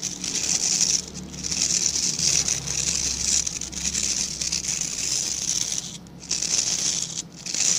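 Fingertips scratch across the tips of a small dark-grey rectangular brush with dense stiff bristles, held in both hands. A steady, bright, crackling scratch fills the clip, dipping briefly near one second and again around six and seven seconds before resuming.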